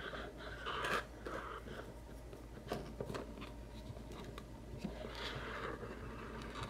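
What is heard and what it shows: A small, hollow white cardboard macaron box with a lid, holding bottle caps, is tapped and scratched with fingertips and nails. Soft papery scratching runs throughout, broken by sharp, brief taps that ring only faintly, with a low steady hum underneath.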